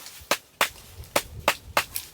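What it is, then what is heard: Dense hardwood log. A dense manuka firewood log, a native New Zealand hardwood with the bark on and many tight rings, is tapped six times. Each tap is a short, sharp, bright knock with almost no ring, and the taps come out fairly faint rather than carrying a strong, clear tone.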